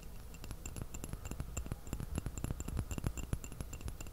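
An empty small white porcelain teacup with a purple floral print is held upside down in both hands while fingertips and fingernails tap its hollow body. The result is a quick, irregular run of light taps, each a soft low knock with a brief bright, glassy clink that dies away almost at once.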